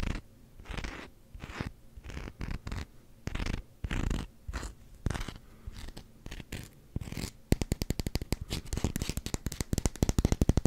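Fingernails scratch fast across the edge and textured rim of a solid black rubber hockey puck, making dry, low, crunchy scraping bursts with short pauses between them. After about seven seconds, the scratching turns into a quick, even run of sharp, bright ticks that grows louder toward the end.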